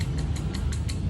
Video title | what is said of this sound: PCX 160 biglang umingay ang makina | Dapat to pag kinatok, walang tunog. Ayan mga sir, ang lakas. So ibig sabihin sira to.